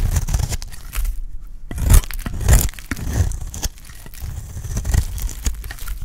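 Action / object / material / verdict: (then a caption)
scrape / bar of soap cut with a metal blade / soap / none. A solid, oval, dry red bar of soap held in the hand is shaved with a metal utility blade. Repeated dry scraping and crunchy cutting strokes come in an irregular rhythm, each a short broadband burst with a dull low thud and a crisp, bright edge that stops without ringing.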